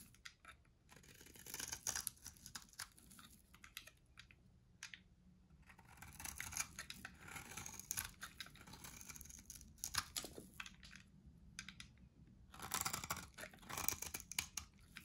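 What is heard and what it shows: A white, dry, solid pale bar of soap held in the hand is shaved and carved with a metal box-cutter blade. The result is quiet, bright, crunchy scraping in dense bursts of short scratches, separated by brief near-silent pauses.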